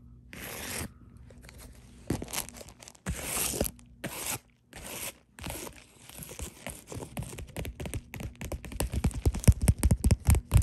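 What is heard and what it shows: Long dark nails scratch and press on a white bubble-textured poly mailer, first lying flat and then held upright. A few separate crinkly, crunchy scratches give way to a quickening run of short crackling taps. The taps grow louder and denser toward the end.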